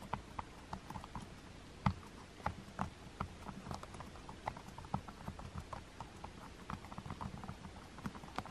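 Fingertips with long nails press and tap the rubber number buttons on a black plastic TV remote. About twenty soft, muffled clicks and light taps come at an uneven pace, each dull and very short, over a faint steady hiss.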